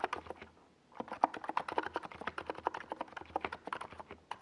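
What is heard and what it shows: A compact 68-key NiZ Plum Atom 68 mechanical keyboard with a hollow white plastic case and purple and yellow Domikey Gas Attack SA plastic keycaps is typed on rapidly with the fingertips of both hands while resting on a desk pad. Quick, crisp clacky taps with a hollow mid-range tone come in fast bursts, broken by a short pause near the start.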